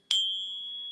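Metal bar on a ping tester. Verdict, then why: Fake. A fake silver bar, apparently brass, rests on a ping tester and is tapped once. It gives a bright, high ring centered near 3.2 kHz that sustains for most of a second. The tone identifies the bar as fake.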